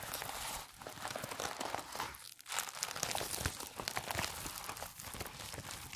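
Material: Latex.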